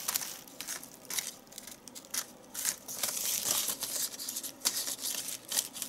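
Fingertips fold, crumple and shape the folds of a small handmade doll made of white crepe paper, tied at the neck, light and hollow. Bright, dry crinkling and crackling comes in quick bursts with brief quieter gaps, rising to a denser stretch of rustling in the middle. The sound is almost entirely high, with no low body to it.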